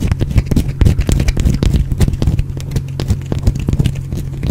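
A small, solid, carved green bar of soap is held near the microphone and scratched and picked at with the fingernails. Dense, rapid crackling scrapes and quick clicks sit over a heavy, low, steady hum.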